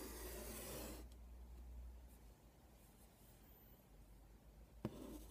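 A stick of chalk scratches and scrapes across a flat black chalkboard with a light wooden frame and white alphabet letters, lying on a bed, as a hand draws a tic-tac-toe grid. A bright, hissy scrape opens the clip, then fades to quiet, faint scratching. A sharp tap near the end leads into another short scrape.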